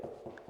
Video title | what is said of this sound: [구옥 셀프리모델링 EP.19] 세상 모두가 양심적이고 착한사람만 있는건 아닌가 봅니다 | 이렇게 둔탁한 소리가 나면은 잘 붙은게 맞거든요 예